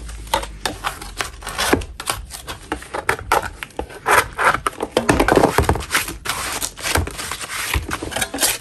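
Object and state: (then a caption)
Chalk block scraped with a metal blade. A metal spatula blade scrapes a solid lump of natural chalk in a quick run of short, dry, gritty strokes. Each stroke is a brief broadband rasp reaching into bright highs, with scratchy bursts swelling and fading throughout.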